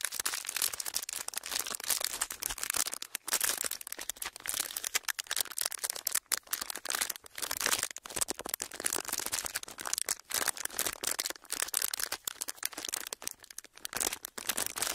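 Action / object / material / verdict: scrape / thin clear plastic packaging sheet / plastic / none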